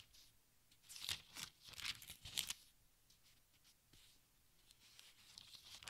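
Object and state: Thin-paper book, pages turned.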